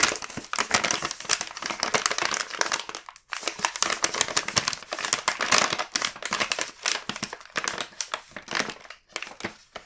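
A large, full red plastic-film KitKat snack bag is flipped over and rubbed with the fingertips. It gives steady, dense, bright crinkling with many quick crackles, almost no low end, and one brief pause just after three seconds.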